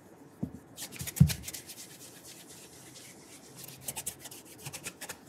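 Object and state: Leather shoe being polished.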